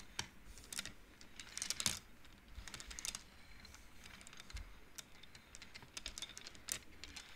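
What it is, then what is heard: Wooden bead abacus. Hands slide and flick painted wooden beads along the metal rods of an upright wooden-frame abacus. The result is a quiet, irregular run of short, bright clicks and clacks with soft sliding rustles between them. Each click dies away almost instantly.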